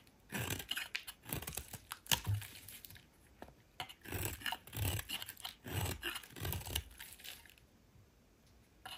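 A solid oval pink soap bar held in the hand is scraped with a metal utility knife blade. Bursts of dry, crunchy scraping come in uneven strokes with bright, crackly highs and a soft low thump, separated by short quiet gaps.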